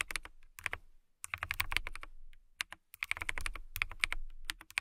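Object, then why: Transparent acrylic mechanical keyboard. A transparent acrylic mechanical keyboard with clear plastic keycaps is typed on with long nails and fingertips. Bursts of sharp, bright clicks come in quick runs with brief pauses between them, each keystroke dying away almost instantly over a low thump.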